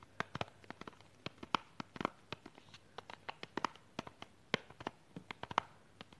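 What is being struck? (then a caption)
Small plastic box wrapped in cellophane. Long pink nails tap and scratch a small, hollow, clear plastic false eyelash box wrapped in cellophane while it is held in both hands. Some 27 sharp, dry clicks land in an uneven patter, mixed with faint crinkly scratching of the wrap. Each tap is bright, thin and dies away almost at once.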